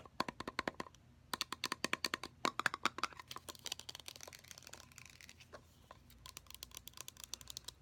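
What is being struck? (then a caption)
Metal aerosol shaving gel can. Long nails rapidly tap the body and domed bottom of a full, pressurized, hand-sized pink metallic aerosol can of shaving gel. The result is bursts of sharp, bright clicks with a faint metallic ping around 1.7 kHz. Quieter scratchy, crinkly patches fall between the bursts.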